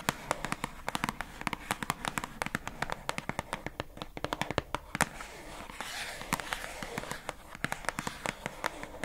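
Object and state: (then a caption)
Plastic food container. Long acrylic nails rapidly tap the labeled side of a pink hollow plastic food container box held in both hands. The result is a dense run of short, dry, bright clicks that stop almost instantly. Around the middle there is a brief hiss of softer rustling.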